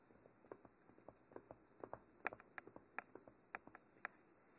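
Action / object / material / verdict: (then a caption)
tap / textured cylindrical microphone body with metal grille ends / unknown / none. Fingernails tap and scratch the silver cage ends of a hollow, textured black cylindrical Mitra binaural microphone. The result is a quiet, irregular run of about fourteen sharp, dry clicks with bright edges and almost no ring, over a faint soft hiss.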